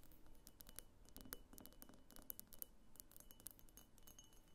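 Long painted fingernails rapidly tap around the sides and thick clear base of a medium, hollow, empty pink cased-glass vase standing on a wooden table. The result is a quick, quiet stream of light, bright clicks and clinks that die away almost instantly.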